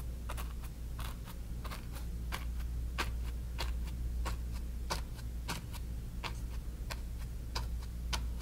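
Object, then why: Cotton canvas on a wooden frame, bristle brush. A flat bristle brush dabs and strokes wet paint on a small stretched cotton canvas on a wooden frame. Short, soft, bright scratchy taps come at an uneven pace over a steady low hum.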